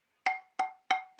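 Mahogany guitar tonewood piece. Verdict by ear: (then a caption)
Thinned. A thinned piece of mahogany guitar tonewood, with a little wood removed, is tapped four times, the last tap cut off at the end. Each tap gives a short, woody knock with a clear pitched ring near 770 Hz and a faint higher overtone. Removing the weight has lowered the note the wood gives.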